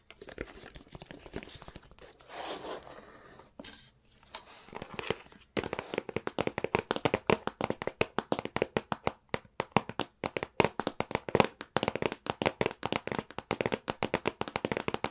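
Fingers handle the side flap of a hollow, printed cardboard retail box for a SNES Classic Mini, making soft rustling, scraping and a brief papery swish for the first few seconds. Then fingertips and nails tap rapidly on the box top, producing a long run of dry, hollow clicks and knocks with almost no ring, centered in the midrange around 500 Hz.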